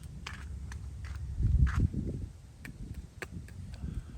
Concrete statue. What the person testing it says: it sounds pretty uh pretty darn thick